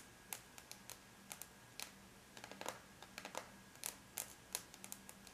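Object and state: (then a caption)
Aluminum laptop lid. The tips of long, bare natural nails on both hands tap lightly across a closed silver aluminum laptop lid, a flat, thin, hollow-backed metal shell. The result is a quiet, irregular patter of sharp, bright clicks that stop dead with no ring, over a faint steady low hum.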